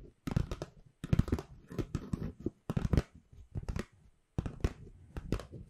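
Long pink nails and fingertips scratch and tap the surface of an empty white Pandora paper shopping bag with black rope handles, held upright behind the microphone. Dry, papery scratching and crinkling come in quick clustered bursts, separated by brief silences, with a soft low thump under the taps.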